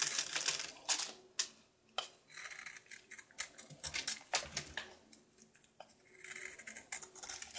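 A knife shaves a solid soap bar with a red outer layer, held in hand, down to its white-blue core. Crisp, bright scraping strokes come in quick, irregular bursts, with short dry cuts and soft crumbly rasps between them.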